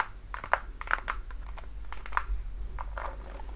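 A worn red patent-leather platform high heel is tapped and scratched by long nails across its heel, platform and straps. Brief, dry clicks around 1 kHz sound in an uneven run over a soft low rumble, each dying away almost instantly.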